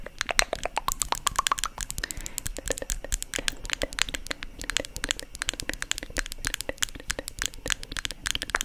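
Long nails tap rapidly on the lid and sides of a small white plastic cosmetic jar, a hollow container held close to the mic. The result is a dense, fast stream of sharp, dry clicks with a bright, hollow ring centered around 2 kHz that dies away almost instantly.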